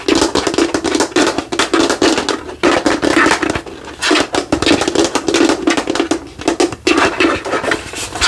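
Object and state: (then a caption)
Plastic light-up skull. Fingertips and nails tap rapidly on the face and sides of a hollow, translucent plastic light-up skull lamp held in both hands. The result is a dense, fast run of dry, clicky taps with a hollow plastic resonance around 340 Hz, bright ticking edges, and brief pauses between bursts.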